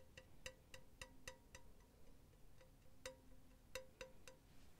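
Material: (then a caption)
Metal. Long teal-painted nails tap and scratch a hollow, empty-looking silver cylindrical wire-mesh pen holder close up. About ten light, irregular metallic taps ring out, each with a short bright ping around 520 Hz and a quick decay. Soft scratchy rustling fills the gaps between them.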